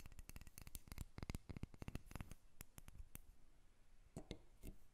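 Long red nails tap and scratch a solid carved wooden dolphin figurine resting on a table, which is briefly lifted. Quick, dry clicking taps come in a dense run through the first half, then thin out to scattered taps and soft scratching. Each tap is short with no ring, with a dull low body and a bright click on top.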